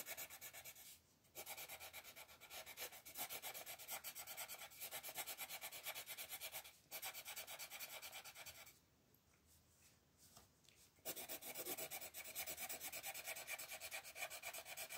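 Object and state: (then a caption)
Colored pencil shading a paper coloring page. A green wooden colored pencil shades a thin paper page of an open coloring book on a table with fast back-and-forth rubbing strokes while the other hand rests on the page. The result is a bright, dry, scratchy rasp that keeps up a steady rhythm, broken by brief pauses near 1 and 7 seconds and a longer near-silent stretch from about 9 to 11 seconds before the shading resumes.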